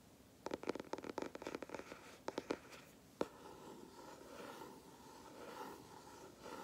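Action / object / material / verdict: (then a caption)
tap / cardboard sketchbook cover / cardboard / none. Fingertips tap and scratch the flat dark grey cardboard cover of a large spiral sketchbook held upright, making a quick run of dry, mid-pitched taps in the first few seconds, then one sharper tap. A finger then traces near the spiral edge, giving a soft, continuous scratching rustle until the end.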